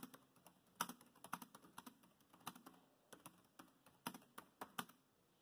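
Fingertips of both hands type rapidly on a dark grey plastic laptop keyboard. About twenty short, sharp key clicks land in an uneven rhythm, some louder than others. Each click is bright and dry with almost no low end and dies away almost instantly.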